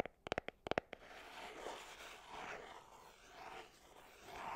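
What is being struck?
Small cardboard perfume box.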